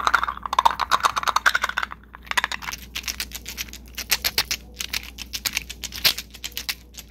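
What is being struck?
Enamel bangle with metal trim.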